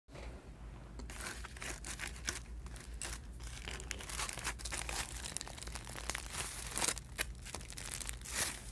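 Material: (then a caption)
Aluminium foil. Fingertips and long painted nails press, lift and crinkle a thin, hollow stack of layered crinkled aluminum foil sheets on a table. Dense, bright crackling and crinkling bursts run throughout over a steady low hum.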